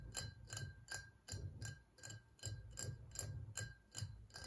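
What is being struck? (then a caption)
Ribbed glass whiskey bottle, partly filled. Fingertips and nails of both hands tap quickly on the ribbed sides of a tall, ridged glass whiskey bottle that stands on a table, partly filled with liquid. A steady run of sharp, bright clicks rings briefly over a low, rumbling hum, with a faint thin tone held steady underneath.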